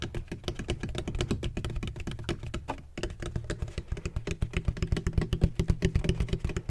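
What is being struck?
Textured plastic ring-shaped bottle.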